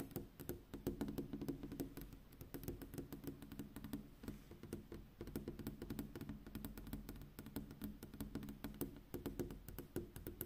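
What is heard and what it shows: Long pink-painted fingernails on a hand in a black fingerless glove tap and drum on a large, flat, rigid sheet-glass window pane overlooking a night street. Quick, dense clicks and knocks come in irregular bursts, each dying away almost at once over a soft low hum. The level stays quiet throughout.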